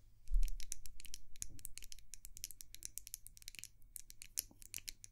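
Long nails tap rapidly on a small white glass candle jar held close to the microphone. A quick stream of sharp, bright clicks and light scratchy taps sits over a steady low hum, each tap dying away almost at once.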